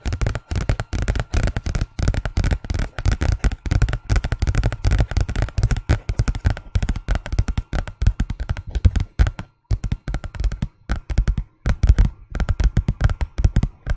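A large, thin white paper envelope held flat behind the mic is tapped and scratched with the long painted fingernails of both hands. The result is a rapid, dense patter of short, dry, bass-heavy thumps with a faint papery scratch layered over them. Brief pauses fall around 9.5 and 11.5 seconds.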